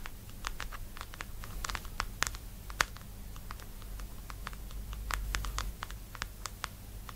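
Long nude nails tap and scratch the frosted white lid and labeled sides of a small round plastic cream jar standing upright on a purple blanket, then grip the lid. A quiet run of sharp, bright, quickly fading clicks and scrapes sits over a faint low rumble.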